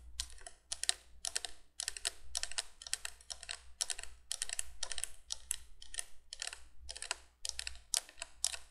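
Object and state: Plastic window candle light.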